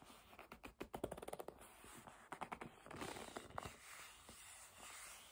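Long nails tap and rub the surface of a hollow black leather bag held in the hands, making about sixteen quick, dry, hollow clicks in two bursts. Between the bursts come soft, scratchy rubbing sounds, and the clip ends in a quiet, steady hiss of rubbing.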